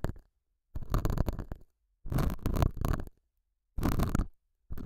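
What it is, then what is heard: Felt pad. A thin metal dental scaler hook with a white handle scratches and picks at a small square beige felt pad mounted on a lapel microphone and held by fingers. The sound comes in separate bursts of dense, crackly scraping, heavy in low rumble with some brighter grit, with short silences between them.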